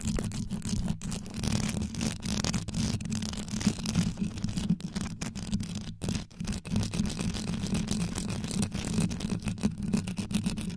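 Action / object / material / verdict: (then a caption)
scrape / rhinestone-covered microphone grille / rhinestones / none. Long yellow nails scratch quickly across the top and sides of a black condenser microphone's rhinestone-studded grille. The result is a dense, continuous scratching texture with a heavy low rumble near 200 Hz, crackly bright grit above it, and brief dropouts as the nails lift.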